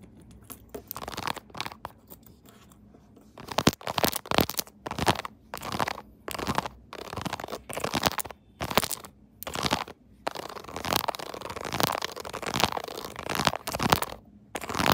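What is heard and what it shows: Long nails scratch and tap the molded keys of a pink silicone keyboard phone case fitted on a phone held in a tripod holder. The result is dry, crunchy bursts of scratching with soft tapping, grouped in uneven clusters with short quiet gaps between them.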